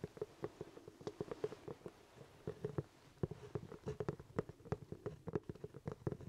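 Fingertips tap and scratch the crown of a hollow, empty black leather top hat held toward the camera. The result is a quiet, rapid, irregular series of dry, soft taps and scratches with a hollow low thump and a mid-range body, each cutting off instantly with no ring.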